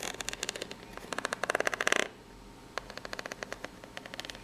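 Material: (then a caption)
Cardboard. Long pink-polished nails scratch across the ribs of a corrugated cardboard box that is probably empty and hollow and tilted flat. Rapid, dry, bright ticks build into a dense scraping burst, stop briefly, then return as sparser clicks.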